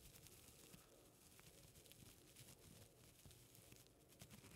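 A folded strip of white paper, held in both hands, is rubbed and crinkled by fingertips close to the microphone. The result is a quiet, steady rustling and crinkling with small bright crackles and a soft low rumble throughout.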